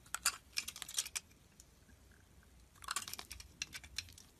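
A metal utility blade slices thin curled shavings off a solid, white, hand-sized bar of soap held in the hand. Each cut gives a quick, crisp, bright crackle. The crackles come in two busy clusters separated by a quieter stretch in the middle.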